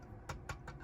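Three light taps on the front hood of a 1/24 scale die-cast McLaren 720S model car, each a short, soft knock with a low hollow thud. The hood sounds hollow, and the front trunk does open, though it is quite stuck.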